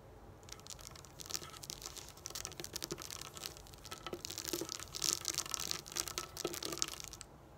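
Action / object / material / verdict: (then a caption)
scrape / plastic dome dot stickers on a thin backing sheet / plastic / none. Long acrylic nails tap and scratch across a flat sheet of small glossy raised plastic dome dot stickers on thin backing, lying on a wooden table. The sound is a dense run of quick, bright clicks and crisp scratching, mostly high-frequency, with brief sharper taps standing out before it stops.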